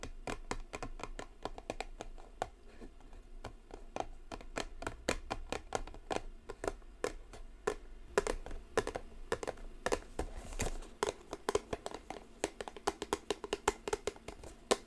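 A small gold-foil cardboard Michael Kors perfume box is held and tapped and scratched with long nails. A steady, continuous stream of quick, dry, clicky taps with short scratching sounds continues throughout, each tap dying away almost instantly.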